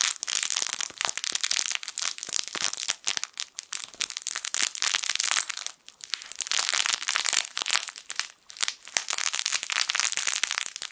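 A small yellow plush fabric crinkle toy shaped like a sun is squeezed and crumpled with fingertips. It makes a dense, bright, crackling crinkle with almost no low end, running in bursts with brief quieter dips around 4, 6 and 8.5 seconds.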